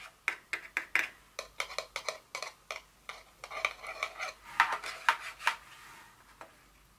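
A small, empty white cardboard perfume box insert for a Dior fragrance, with its flaps open, is tapped and rubbed with long fingernails. Dry, sharp clicks and taps follow in an uneven rhythm and decay almost instantly, centered in the midrange with a bright edge. The later stretch carries denser, scratchier rubbing before a few final taps.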